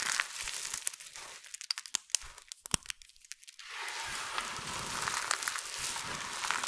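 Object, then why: Heap of soap flakes and chips. Bare fingertips with long nails dig into a large heap of small, multicolored dry soap flakes and chips, scooping, squeezing, crushing and rubbing handfuls. A bright, dry crinkling hiss gives way to a stretch of sharp, scattered crunches and crackles. It then settles into a steady, dense rustling crunch for the last few seconds.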